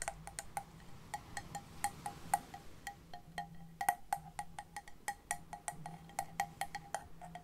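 A large, hollow, cream-coloured conch-like seashell, held in both hands close to the mic, is tapped with long painted nails in an irregular series of about thirty quick taps. Each tap is a sharp, bright click with a short hollow ring near 800 Hz that dies away almost at once, over a faint low hum.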